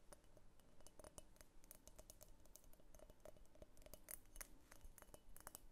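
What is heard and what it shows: Long painted fingernails tap rapidly on a medium egg-shaped pink opaque glass vase with a thick clear glass base, hollow and empty, while it is held and tilted. The result is a quiet, continuous run of short, bright clicks and faint glassy clinks that fade almost at once.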